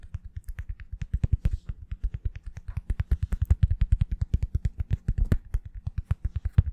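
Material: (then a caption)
Plastic. A small oval plastic-backed foam wave sponge brush with a hollow hard plastic back is held close and quickly tapped on its back with long fingernails. The result is a rapid, steady run of about 56 short, dry, hollow thuds, heavy in the low end, each with a faint bright click and no ring.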